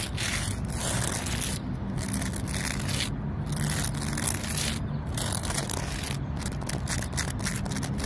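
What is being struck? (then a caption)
Tree trunk with rough bark. Long nails scratch the rough bark of a large, solid tree trunk, producing a steady, dense scraping rasp. Continuous crackly texture runs across a broad band and extends up into bright highs, with brief gaps in the upper scratching, over a constant low rumble.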